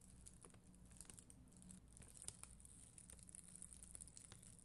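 A flat plastic sticker sheet of red and clear faceted acrylic rhinestones on white backing is brushed and scratched with a black mascara spoolie by long green nails. The result is soft, quick scratchy ticks and crinkly patter with bright hiss over a low steady hum.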